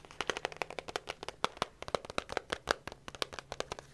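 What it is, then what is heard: Paper food cup. A small, hollow, sealed paperboard instant bowl cup with a printed label, held in the hands, is tapped with long fingernails on its side and bottom. About 26 quick, crisp clicking taps sound in an uneven rapid rhythm, each dry and short with almost no ring.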